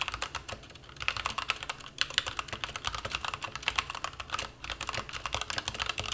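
Fingertips type continuously on a white-cased plastic mechanical keyboard with black and white plastic keycaps resting on a bare desk. Rapid, bright, dry clacks follow one another in an uneven stream, each dying away almost instantly with little low end. Brief pauses break the rhythm near the two-second and four-and-a-half-second marks.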